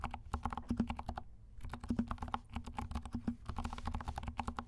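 Fingertips of both hands type continuously on a compact 68-key mechanical keyboard with black and pink plastic keycaps and silent switches. Rapid, muted taps carry a soft low thud and a faint clicky edge, with a brief pause near the start before the typing resumes. Each keystroke dies away almost instantly.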